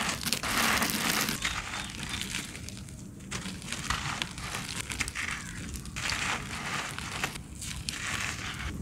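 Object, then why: Sand-cement clumps. Bare hands crush and crumble solid, dry, gritty sand-cement clumps with the fingertips and palms, crumbs falling from the fingers. The result is a steady, irregular stream of bright, gritty crunching and crackling, with dense bursts of fine grains breaking apart.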